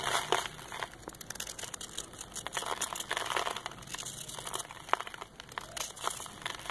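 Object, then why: Packed sand ball scraped with a steel blade. A solid ball of packed dusty red sand, held in the palm, is scraped repeatedly with a steel knife blade. The result is a steady run of dry, gritty crackling and crunching scrapes, bright and thin with almost no low end. Each scrape stops short with no ring.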